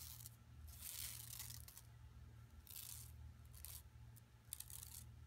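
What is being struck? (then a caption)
Woven plastic mesh tote bag. A flat, empty yellow woven plastic mesh tote bag with striped sides, lying on carpet, is scratched with long nails and rubbed with fingertips. The result is a quiet series of bright, hissy scratching bursts with a couple of sharper ticks near the end, over a steady low hum.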